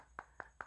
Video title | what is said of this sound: Xiaomi Redmi Note 9 Pro di 2021: Jawara pada Masanya | Jadi kalau diketok-ketoknya tuh nggak bunyi krik-krik gitu. Nah, dia kuat, nggak yang bunyi krek kayak longgar gitu loh.